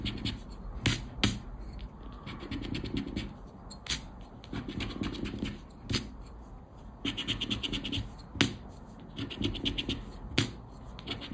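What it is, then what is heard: Paper scratch card being scraped. A thin coated-paper scratch card (Aranha da Sorte) lies on black cloth while its scratch-off panels are rubbed with a round black plastic scraper. Bursts of dry, gritty scraping alternate with short pauses and sharp bright clicks.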